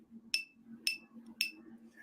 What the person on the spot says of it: You hear that high-pitched ting, and then there's a carry-on ring afterwards.